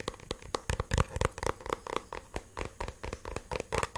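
Fingertips and nails tap and scratch a black, cylindrical, hollow portable plastic Bluetooth speaker held close to the microphone. The result is a quick, irregular run of dull, hollow knocks with a low thump, mixed with brief dry scratches, each dying away almost at once.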